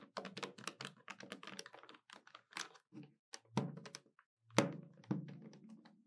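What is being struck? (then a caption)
Plastic desktop calculator. Long nails tap the keys of a hollow black plastic desktop calculator, with a brief hand gesture in between. A quick, uneven run of light, clicky taps gives way to a few louder, hollow thunks with a low body and a short ring.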